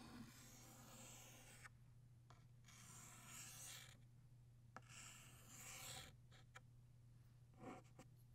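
A blue chalk stick held in the fingers scrapes across a flat black chalkboard in scratching strokes that draw butterfly wings. Long, bright, gritty rasping strokes alternate with short pauses and a few light taps, over a steady low hum.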